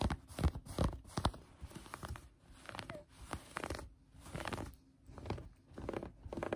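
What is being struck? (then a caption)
Knit fabric. Long brown-painted nails gather and scratch a green knit fabric folded on a table. Soft, crunchy scratching and rustling come in irregular bursts separated by brief quiet pauses.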